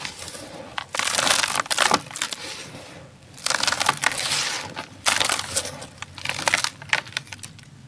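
Both bare hands scoop, squeeze and crumble a large heap of fine, dry grey sand-cement or dirt powder in a round tray inside a plastic tub, letting it fall through the fingers. Bright, gritty crunching and crackling come in several loud bursts separated by softer sifting hiss, with almost no low end.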